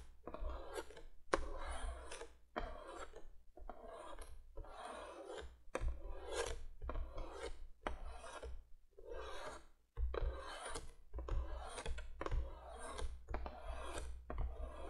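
Long fingernails on one hand scratch the surface of a printed cardboard box lying flat. Quick, dry, raspy strokes come in short repeated bursts with brief pauses between them, over a steady low hum.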